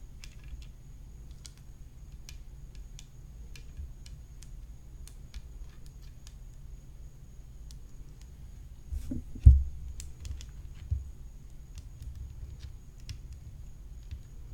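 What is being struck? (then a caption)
Graphite composite tennis racket frame. Long fingernails tap the hollow composite rim of a graphite composite tennis racket decorated with rhinestones, using both hands by the end of the stretch. Faint, light clicks scatter over a quiet low rumble and a faint steady high whine, with a louder dull knock and a brief cluster of taps around the middle.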